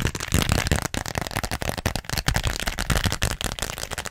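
Long nails rapidly tap and scratch a small pink glossy plastic (vinyl) zippered pouch with a flamingo print, held close up. The result is a dense run of quick, crackly clicks and scrapes with a deep, thumpy low end and a bright crinkly edge, each tap dying away almost instantly.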